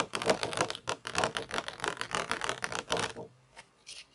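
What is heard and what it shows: Long nails tap and scratch across the textured mesh base of a round black plastic toy pizza tray held upright. The result is a rapid, irregular run of dry, bright clicks and scrapes with almost no low end and very short decay. It stops abruptly after about three seconds, followed by a few faint, isolated scratches.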